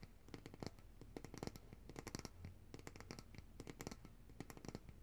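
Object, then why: Glass jar filled with solid coconut oil. Long nails tap and scratch the sides of a large glass jar of coconut oil, full of white solid oil and held upright in both hands. Quick, dense, bright clicks come in irregular bursts with soft scratching between them, each tap dying away almost at once over a low, quiet hum.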